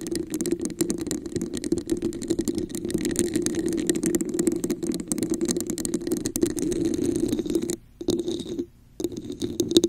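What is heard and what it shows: Long acrylic nails tap and scratch the sides of a hollow, empty red plastic cup with a raised diamond texture, turned upside down over a microphone. A dense, continuous stream of quick clicks and scratchy rasps carries a hollow resonance around 336 Hz. The sound drops out briefly near the eight-second mark and again just before nine seconds, then resumes.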